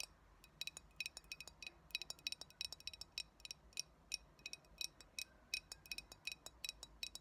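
Long nails tap along the body and base of a clear glass cold brew coffee bottle with a paper label, hollow and mostly empty. The result is a quick, irregular run of bright, high glassy clinks that die away almost at once, with little low end beneath them.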